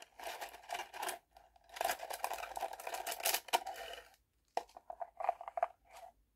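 Long painted nails rustle through and tap a bundle of thin bamboo skewer sticks in a small wooden box, then push the bundle down into the box. Dry, bright rattling and crinkly scratching come in dense bursts with a woody clatter around 700 Hz, followed by a brief pause and a run of quicker, sharper taps.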